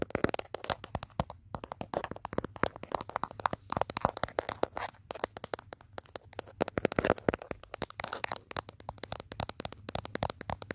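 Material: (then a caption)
Plastic. Fingertips with short nails tap and scratch the back of a handheld smartphone in a mint-green protective case, with the phone itself recording. Dense, rapid dry clicks and scratchy rasps run continuously, each tap sharp and dying instantly, with brief pauses between flurries.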